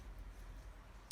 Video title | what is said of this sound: Valve Clearances (Yamaha XVS 1100) | you can hear it moving freely / and tapping / as it should do